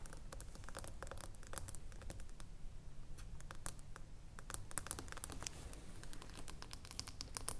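A small, filled glass lotion jar lies on its side with its flat glass base facing forward, and long nails tap and scratch across the glass bottom. Quick, dry clicks and bright scraping strokes sit over a low, steady rumble, and each tap dies away almost instantly.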